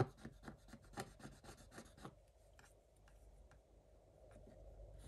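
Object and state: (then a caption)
Scratch-art paper being scraped. A wooden stick scrapes the black coating off a scratch-art page in a spiral notebook lying flat, revealing a pink design. About a dozen quick, fine scratching strokes come in a rapid run over the first two seconds, then the sound thins to a few faint, scattered scrapes over a soft, quiet background.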